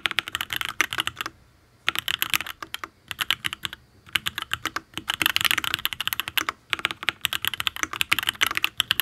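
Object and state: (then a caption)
Mechanical keyboard with aluminium case and ABS keycaps. Fingertips type on a full-size custom mechanical keyboard with an aluminium case, ABS keycaps and linear Tealios V2 switches. The keystrokes come as quick, bright, crisp clicks in bursts of fast typing, separated by two short pauses. Each click is sharp and dry with almost no low end.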